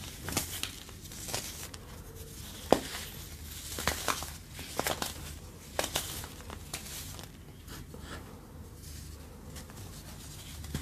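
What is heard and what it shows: A pale pink chunk of compressed, dyed baking soda, a solid, brittle block, is held in the fingertips and crushed and rubbed between the fingers over a bed of red-dyed baking soda powder with white crumbs. Dry, crumbly crunches and sharp little snaps come in an uneven series over a soft, gritty crinkling. The block breaks apart into crumbs that fall onto the powder below.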